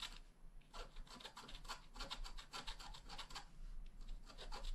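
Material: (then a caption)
Wax. A wooden stylus scratches grass strokes into the lower right edge of a flat black wax-coated scratch art card. A rapid series of short, dry, bright rasping scrapes runs over a faint low hum.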